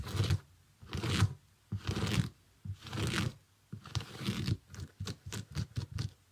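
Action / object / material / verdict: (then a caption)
scrape / small synthetic leather sneaker / synthetic leather / none. Fingernails scratch and tap on the upper and sole of a small, empty, shiny iridescent synthetic leather sneaker. Several long, rasping scratches with a bright edge come first, followed by a run of quicker, shorter taps and scrapes. The sound is dry and close, with almost no ring after each stroke.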